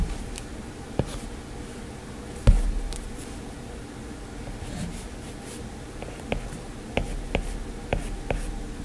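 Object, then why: Plastic stylus on glass tablet screen. A plastic stylus tip makes quick scratching strokes and taps on an iPad's glass screen. Soft, brief clicks and light scrapes come at irregular intervals over a steady low hum, with the sharpest tap near the middle of the clip.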